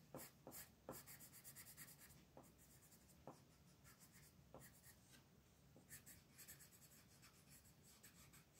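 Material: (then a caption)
Paper. A purple colored pencil rubs across a flat paper coloring book page resting on a table, shading the letters with repeated back-and-forth strokes. The quiet, dry scratching comes in uneven bursts of bright, hissy grain, with small taps as each stroke starts.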